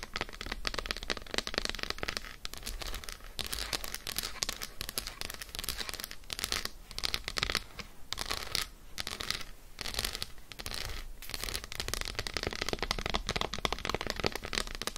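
Long acrylic nails rapidly tap and scratch an unwrapped, solid, light-brown Lindt milk chocolate bar with diagonal lines, lying on fur. The result is a dense, continuous stream of bright, crisp clicks and scratchy crackles that sounds almost like crinkling, with only brief pauses throughout.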